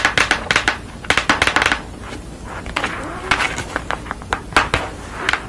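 Long nails tap and scratch a purple construction paper drawing made on card, first while it lies flat and then while it is held up. Bursts of sharp, crisp taps alternate with softer papery scratching, with bright clicks that stop almost instantly.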